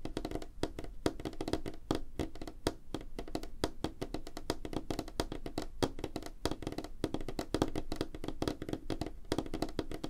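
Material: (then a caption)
Wood. Fingernails on both hands tap quickly across a solid, flat, light wooden tabletop. The taps form a dense, steady stream of short, dry clicks with a woody knock around 310 Hz and very little brightness.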